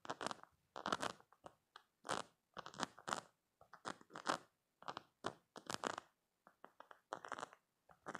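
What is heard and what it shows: Short painted nails scratch and squeeze over the spike rows of a soft, squishy, hand-sized green silicone spiky stress toy. Quiet, crunchy, crackling bursts with a bright edge come in quick clusters, separated by brief silences.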